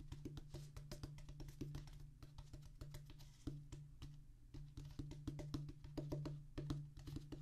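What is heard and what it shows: Fingertips of both hands tap a solid, flat oval drum practice pad with a black rubber top on a tan cork-like base. The pad gives quick, dull, short taps in an uneven, rapid pattern over a steady low hum.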